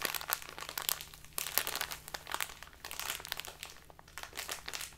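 A small plastic bag full of loose tea is held upright and squeezed and crinkled with fingers and nails. It makes a dense, bright run of crinkly crackles and rustles with a few sharper snaps, over a faint steady low hum.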